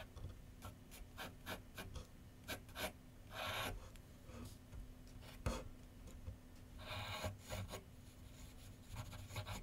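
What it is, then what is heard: Pencil scratching on paper on a drawing board. A pencil tip scratches sketch lines on a large white paper sheet mounted on a board on a wooden easel with solid backing. Quick, dry, bright scratchy strokes are heard, with a few longer rasping strokes, over a low steady hum.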